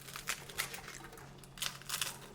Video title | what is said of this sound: ഗോതമ്പും പൊടിയും വെള്ളവും ഉണ്ടോ ?മൊരിഞ്ഞ ഗോതമ്പു ദോശ റെഡി - 2 Ingredients Crispy Wheat Dosa -Ep:1061 | See how crispy it is. Can you hear the sound?